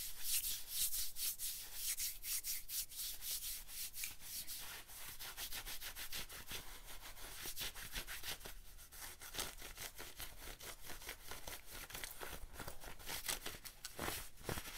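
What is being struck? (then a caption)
Denim jacket sleeve. Fingertips and nails scratch along the sleeve and forearm of a worn, light-wash denim jacket. The result is a quiet, continuous run of rapid, dry scratching strokes, each a short bright rasp with almost no ring.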